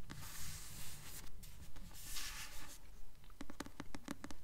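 Long nails scratch the glossy paper cover of a paperback copy of the novel "Delirium," held upright. Broad, rasping scrapes come in bursts over a low background rumble, then give way to a quicker run of short, bright scratches near the end.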